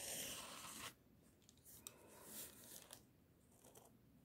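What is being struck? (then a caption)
Pencil lead on paper sheet. A pink mechanical pencil tip scratches quick, short strokes across a sheet of white drawing paper held close by fingertips. A loud, bright, hissy scratching burst opens the clip and cuts off just before one second. Softer, intermittent scratchy strokes with a few sharp ticks follow.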